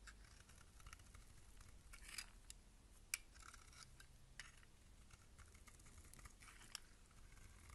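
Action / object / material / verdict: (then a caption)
scrape / soap bar / soap / none. A box-cutter blade scrapes and shaves the surface of a solid rectangular bar of purple-and-white striped soap held in the hand, cutting off crumbly chips. The sound is a quiet, steady, bright, dry scratching, broken by a few sharp clicks and ticks, over a faint low hum.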